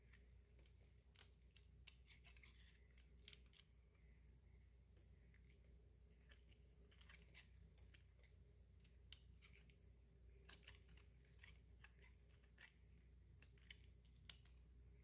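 A utility knife blade shaves and scrapes curls from the top of a small, solid, pink, rounded bar of dry soap held in the palm. Quiet, dry, bright scraping crackles and sharp little ticks come in irregular bursts over a faint steady low hum, each stopping dead with no ring.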